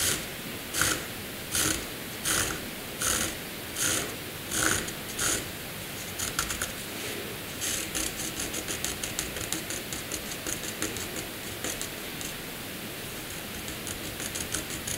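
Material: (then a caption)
Paper. A pencil held upright makes cross-hatching strokes on a flat sheet of white drawing paper. Bright, scratchy bursts come at an even pace for the first six seconds, then turn quicker, shorter and denser, over a steady soft hiss.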